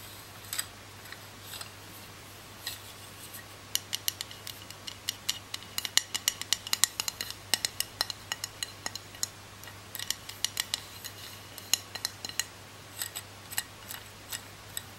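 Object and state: Plastic roller massager.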